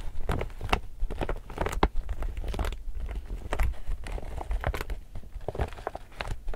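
Fingertips and nails crinkle and scratch across the glossy surface of an empty, illustrated laminated polypropylene tote bag. A steady stream of short, crisp crackles and scratchy bursts rises and falls over a low rumble, with no ring after each touch.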